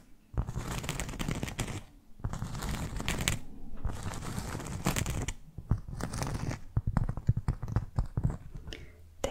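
Long fake nails scratch a solid, round, flat cork board trivet about 20 cm across, held in one hand. It makes dry, raspy scratching in steady bursts separated by short pauses, turning into quicker, sharper scrapes and taps toward the end.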